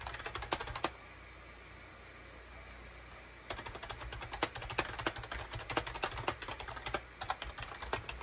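Fingertips type rapidly on a full-size gray and cream SHIPADOO K600 wired USB keyboard, with a hollow plastic case and plastic keycaps, resting on a desk mat. Quick, bright plastic clicks and clacks come in a burst, pause for about two and a half seconds, then resume in a steady, busy run. A low steady hum sits underneath throughout.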